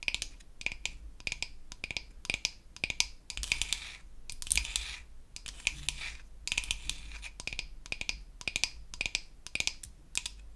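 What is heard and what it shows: Long acrylic nails tap and scratch the surface of a flat, solid, pink-painted wooden toy facial cleansing brush. Dozens of quick, bright clicks come in clustered bursts, with brief scratchy passages between them. Each tap dies away almost instantly.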